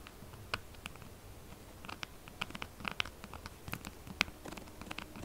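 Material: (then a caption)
Soap. Long nails scratch fast across the gouged, textured face of a solid pink soap bar. The result is a quiet, dry, continuous scratching texture, dotted with sharp, bright clicks and ticks that peak around 2.5 kHz and die away instantly.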